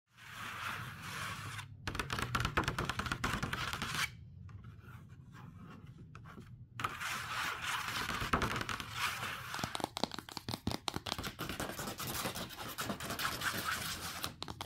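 Long pink acrylic nails scratch and tap across the lid of a closed, large white cardboard MacBook Pro box with a grey Apple logo, then along its side edge. Dry, bright scraping and rasping alternate with quick, dense tapping clicks, broken by a quieter, softer stretch in the middle.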